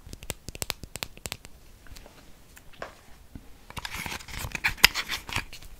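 Long painted nails tap a small, hollow, closed black MAC metal lipstick tube held in the hands in front of the mic. Sharp, bright clicking taps come in quick bursts, then thicken toward the end into denser tapping with a scratchy, crinkly rustle.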